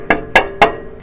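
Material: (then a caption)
Steel. A block of wood knocks three times on a hot catalytic converter, a metal shell with a ceramic honeycomb inside, under a car raised on ramps. Each knock is a short, dull thwack that dies away quickly, with no rattling after it. The wood is used because the exhaust is hot, and the silence after the knocks shows the ceramic catalyst has not broken loose.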